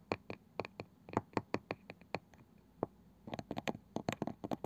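Fingertips and long nails tap and scratch the pale wooden lid of a palm-sized round wooden box with a woven, ridged side band, likely hollow. The result is a quick, irregular run of short, dry knocks with a bright clicky edge and a faint low hollow body. Each tap dies away almost instantly, with soft scratching between them.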